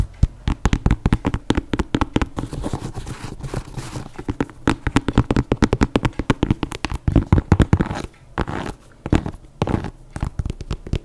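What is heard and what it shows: Long nails tap and scratch the upper of an empty white leather running sneaker with an air sole, held in one hand. Rapid, dull, low-pitched taps follow one another in dense runs, broken by brief scratchy rustles and short pauses toward the end.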